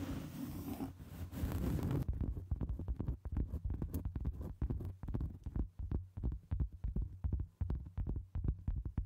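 Long almond-shaped nails scratch and tap across a round solid cork board resting on a microphone. The sound starts as a dense, breathy scratching for about two seconds. It then turns into a fast, uneven run of dull, low, thumping taps with very little ring.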